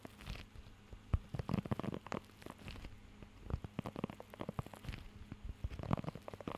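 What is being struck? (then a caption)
Rubber grooming glove with raised nubs. Fingertips scratch and tap across the raised nubs of a blue rubber pet hair grooming glove held close to the microphone. The result is a quiet, dull, low-heavy stream of short crackling scrapes and soft taps that stop instantly with no ring. Some strokes come in brief, denser flurries.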